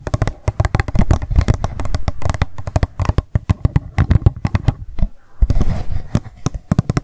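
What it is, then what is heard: Empty plastic cup. Long nails tap rapidly on the rim and sides of an empty, hollow pink plastic cup lying on its side on a table. The result is a fast, irregular stream of short, dry clicks with a hollow, low-weighted body that die away almost instantly, with a brief pause near the five-second mark before the tapping resumes.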